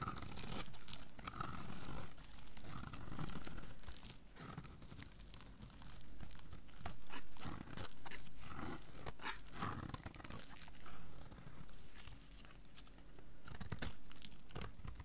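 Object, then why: Soap bar cut with a small knife. A solid, hand-sized rectangular blue soap bar is held in one hand and scraped and cut into pieces with a small metal knife held in the other. Close, dull crunching and tearing scrapes come in repeated swells, heavy in low tones, as shavings break away from the bar.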